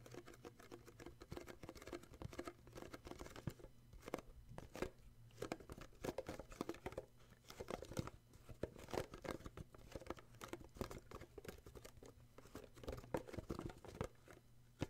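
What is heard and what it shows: Fingertips and short nails tap and scratch the printed skier paper lid of a small, hollow cardboard gift box. The result is a quiet, steady stream of soft, dry taps and scratchy crinkles, each dying away almost instantly. A faint low hum runs underneath throughout.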